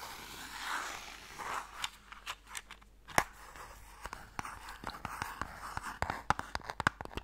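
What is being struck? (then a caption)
Small wooden box. A small closed pale wooden Mikado box, hollow and holding sticks, is turned in the hands while fingernails tap and scratch its sides and ends. Soft scratching rustles run under a string of short, dry wooden taps with a hollow mid-range knock and brief bright clicks, each dying away almost at once.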